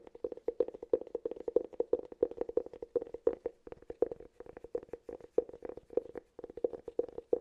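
Fingertips and short nails tap and scratch the side and rim of a round, hollow, palm-sized cork cylinder held close to the mic. The result is a fast, steady stream of short, dry knocks with a hollow, woody resonance around 470 Hz. Faint bright scratchy clicks ride on top.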